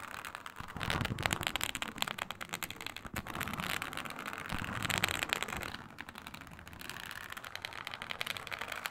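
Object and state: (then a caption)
Fingernails scratching textured faux leather. Long nails scratch a flat, iridescent snake-scale faux leather sheet, making a dense, crackling scrape with a bright, hissy top. The scratching builds in intensity, eases off, then swells again as the nails rake back and forth across the textured surface.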